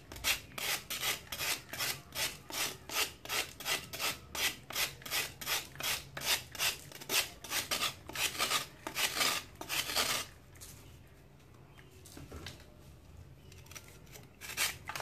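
A small, solid, dry sand-cement chunk held in the hand is shaved with a metal knife blade over water. Bright, raspy scraping strokes repeat in a steady rhythm for about ten seconds, then give way to near quiet with faint crumbling before one last scrape at the end.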